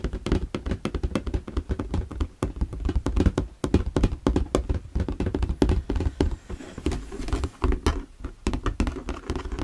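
Fingertips and nails tap and knock the sides of an empty, hollow, translucent plastic storage box held at an angle. The result is a rapid, continuous stream of dull, hollow knocks with a low, boomy body and very little bright edge, each one dying away almost instantly.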